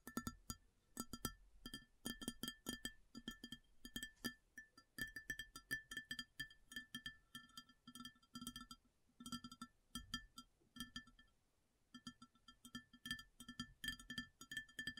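Long fingernails tap quickly across an empty, large, round white ceramic plate in uneven bursts of crisp clicks. Each tap is short and dry, with a low body near 234 Hz and a bright ringing tone around 1.3–3 kHz. The tapping stops briefly around 11–12 seconds, then resumes.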